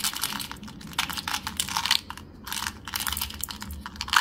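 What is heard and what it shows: A small, hollow, translucent orange plastic Tic Tac box, partly full of hard mint candies, is held in the fingertips and tipped and shaken so the candies pour into the palm. Dense, bright clicking rattles come in uneven bursts with short pauses and almost no low end. A sharper clatter lands at the very end.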